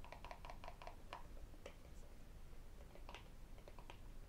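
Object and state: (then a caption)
Cardboard box lid tapped. A hollow, empty white rigid cardboard lid from a phone box is held in the hands and tapped with fingertips, nails and metal rings. The result is a quick series of short, dry, hollow taps with a mid-pitched tone and bright clicks, over a low background rumble.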